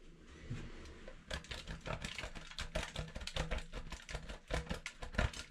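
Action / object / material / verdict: scrape / bar soap on a stainless steel box grater / soap / none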